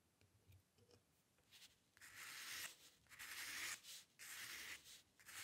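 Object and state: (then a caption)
Steel dip pen nib scratching on paper. A steel-nib dip pen with ink, held in the fingers, scratches fine hair strokes across a flat sheet of white drawing paper on a dark table. Faint, soft scratches in the first two seconds give way to louder, bright, hissy strokes in repeated bursts, each separated by brief pauses. The sound is dry and close, with almost no low end and no lingering ring.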